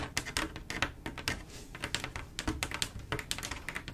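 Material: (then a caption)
Glass. Long acrylic nails tap rapidly on a large, solid, flat panel of silver mirror-like glass mosaic tiles that form a picture. The result is a fast, uneven run of sharp, bright, clicky taps that die away almost instantly, over a faint low hum.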